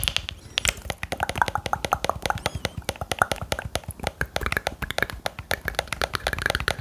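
Fingertips press and tap the buttons and shell of a hollow, handheld black plastic game controller held beside the microphone. A rapid, steady stream of clicky, key-like taps follows for about seven seconds. Each tap is dry and very short, with a bright plasticky click centred around 1.4 kHz.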